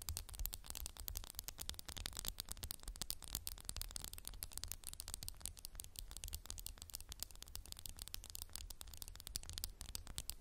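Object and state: Textured glass candle jar.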